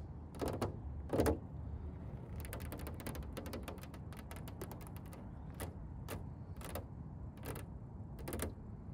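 Long painted nails and fingertips tap and scratch the large, glossy red painted bonnet of a McLaren GT, a hollow body panel. Sharp, bright clicks come singly at first, then in a fast run of ticks in the middle, over a steady low rumble. The taps ring only briefly before fading.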